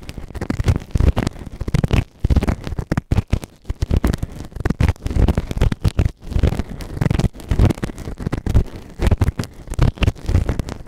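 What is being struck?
Silicone ear-shaped microphone scraped by a plastic ear tool.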